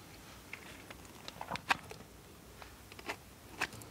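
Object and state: Soap bar being shaved with a knife.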